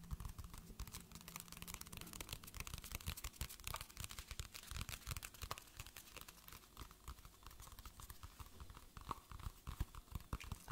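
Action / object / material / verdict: tap / paperback book with paper cover / paper / none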